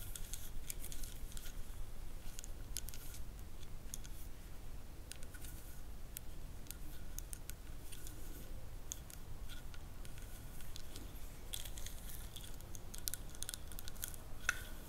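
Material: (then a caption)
Wood. Long nails scratch across the grooves of a solid wooden ribbed massage roller held in both hands, with gems on the hands. Quick, bright scratching clicks come in bursts over a low background rumble. A faint tone sits around 1.4 kHz.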